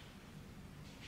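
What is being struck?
Nothing is struck.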